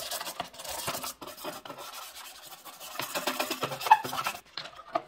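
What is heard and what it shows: A white bristle brush scrubs a removed grey-white plastic washing machine detergent drawer, hollow with compartments and small tubes, empty and wet with some soapy residue. Quick, uneven bristly rasping and scratching strokes come in bursts of dry, bright friction with almost no low end. A brief quieter pause falls near the end before a few final strokes.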